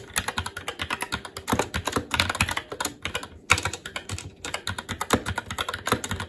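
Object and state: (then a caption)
Mechanical keyboard, plastic keycaps on metal plate. Fingertips of both hands type continuously on a SteelSeries Apex 7 TKL mechanical keyboard with Red switches and black plastic keycaps on a metal plate, in a hollow case with RGB backlight resting on a desk. A rapid, steady stream of short, bright key clacks with quick decay is heard, broken by a brief pause midway before the typing resumes.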